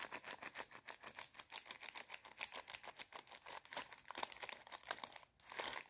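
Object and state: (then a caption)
Plastic bag of popcorn kernels. A small clear plastic bag full of dry popcorn kernels is held in both hands while long red nails tap, scratch and crinkle it. The result is a fast, dense stream of sharp, bright clicks and rustling crinkles with no low end. The sound pauses briefly near the end before resuming.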